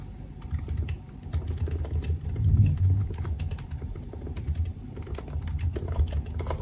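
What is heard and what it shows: Both hands type fast with their fingertips on the black plastic keycaps of a silver aluminum laptop resting on a desk. The result is a steady, irregular stream of short, soft key taps with faint bright clicks over a dull low thump around 100 Hz. Each tap dies away almost at once.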